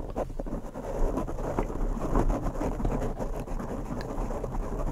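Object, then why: Foam microphone windscreen. Bare fingertips scratch and tap two identical large black, soft, porous foam windscreens on microphones. The result is a dense, muffled, low-heavy rumble of crackling scratches with soft thumping taps scattered through it, holding a fairly steady level with little high-end brightness.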